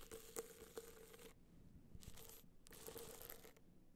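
Long black nails scratch and tap the top edge and surface of a gold rhinestone-studded hard-shell clutch standing upright. Quiet, bright, crinkly scratching comes in bursts with short pauses between them, over a faint steady tone near 460 Hz. A few sharper taps stand out in the first second.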